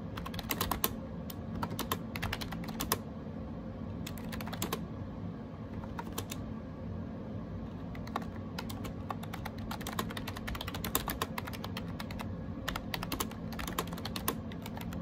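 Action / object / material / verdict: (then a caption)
tap / plastic computer keyboard with round keycaps / plastic / none. Fingertips type rapidly on a gray AJAZZ 308i wireless Bluetooth keyboard with round plastic keycaps. Bursts of quick, clicky key taps come in clusters with short pauses, over a steady low hum.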